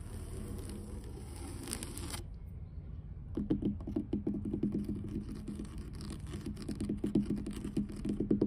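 Long blue nails tap and scratch along solid, grey, weathered wooden dock planks and their seams. A steady scratchy rustle with a bright hiss stops after about two seconds, and a short near-silence follows. Then a quick run of light, typing-like taps with a low, hollow knock begins and continues to the end.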